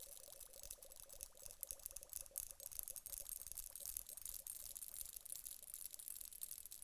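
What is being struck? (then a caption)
Glass hourglass filled with gel beads. A glass hourglass filled with gel water beads is tapped with long nails on its upper bulb, then tilted. The result is a quiet, dense run of quick, bright clicking taps with a faint, steady midrange tone beneath and soft, shifting rustles as the beads move.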